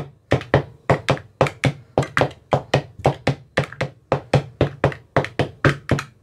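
A thin metal rod with a white rounded tip taps inside the hollow cells of an empty, translucent frosted plastic ice cube tray with 15 compartments and teal bottoms, with a hand held close over the tray. About 29 short, hollow, dry knocks land at an uneven pace, each a low thunk with a brief brighter click that dies away almost at once.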